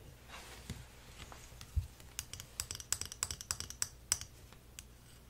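A flat, thin, solid printed wooden elephant-shaped puzzle piece, about hand-sized, is held in one hand and scratched and tapped with the fingernails of the other. Soft scratching gives way to a run of sharp, bright clicking taps with a brief low thump, each tap dying away almost instantly.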